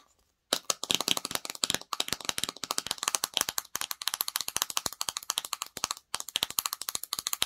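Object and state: Plastic slime jar.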